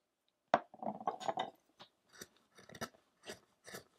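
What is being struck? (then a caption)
Wooden statue block worked with a small chisel. A small metal chisel, held in the fingertips, scrapes and cuts the surface of a solid, light wooden sculpture block with a rough-hewn back while the other hand holds it steady. A sharp opening cut leads into a rapid run of dry scraping strokes, followed by short, crisp, bright cuts spaced apart with near-silence between them.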